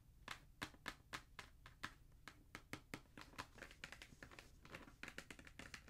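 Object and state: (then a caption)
Cardboard shoe box tapped. Fingertips and nails tap on the lid of a hollow black cardboard Jordan shoe box held flat. Sharp, dry taps start out spaced apart and then come in quicker, denser runs. Each tap gives a bright click over a faint low thump and dies away almost at once.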